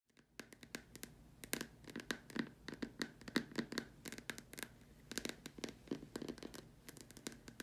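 Long dark stiletto nails tap and scratch the curved surface of a large, hollow, white opaque plastic dome lamp shade with a hole in its top, resting on a cloth. Rapid, irregular, bright clicky taps with a hollow low-mid body sit over a soft, continuous scratchy rustle. Each tap dies away almost instantly.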